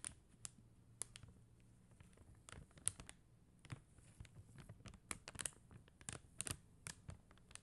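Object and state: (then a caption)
Plastic rhinestone sticker sheet. Long acrylic nails tap and scratch across a flat sheet of faceted plastic rhinestone gem stickers. Quiet, sharp, bright clicks are scattered irregularly between soft scraping sounds. A faint low hum runs steadily underneath.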